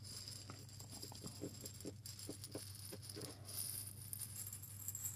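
A small clear glass jar of small grains is tilted and shaken in the hands, sending the loose grains rattling against the glass walls in quiet, bright, scattered patters over a steady low hum. The rattling grows a little louder and denser toward the end as the jar is raised up in one hand.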